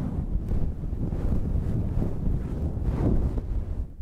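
Long red nails and fingertips scratch a fluffy synthetic faux-fur windscreen on a handheld black recorder. The result is a continuous, muffled, rumbling scrape that sits almost entirely in the low bass, with little high end. The sound swells and dips slightly throughout.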